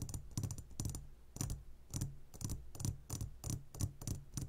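Fast fingertip tapping with both hands on a clear glass jar full of gummy candies, giving quick bursts of short taps with a low thud and a bright glassy click. The taps come in irregular clusters across the clip, each dying away almost instantly.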